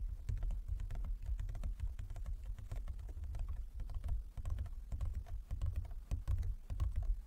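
Both hands tap the lid of a large, closed, hollow wooden folding chess board with fingertips and nails. The result is a rapid, continuous patter of soft, low, hollow knocks with light clicks on top, each tap dying away almost instantly.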